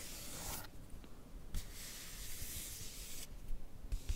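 Fingertips and long nails rub and scratch across the glossy paper surface of a magazine page showing a portrait photo, held close. Long strokes make bright, hissy scraping sounds that come and go, with soft low bumps beneath.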